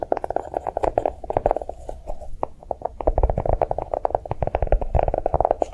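A notebook made to look like a bar of chocolate is tapped quickly and continuously, giving a rapid run of soft, muted taps with a dull mid-range tone and a low thump. Each tap dies away almost instantly, with a brief quieter stretch near the middle before the fast tapping resumes.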